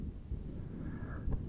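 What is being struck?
Nothing is struck.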